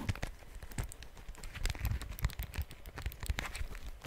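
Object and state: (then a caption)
Plastic calculator. Fingernails tap the keys and casing of a small, solid, dark plastic handheld calculator with a keypad, held in both hands close to the mic. The result is a quick, uneven run of short, dry clicks with a soft low thump under each tap and a bright edge on the sharper hits, with no ring after them.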